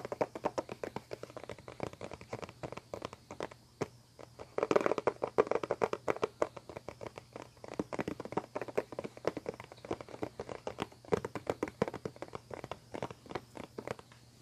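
A clear plastic CD spindle case with discs inside has its hollow lid tapped and scratched with fingertips and nails. Dense, rapid, dry clicks and taps with very short ring sit mostly in the midrange around 400 Hz, mixed with faint scratchy texture. A louder burst of tapping comes near the five-second mark.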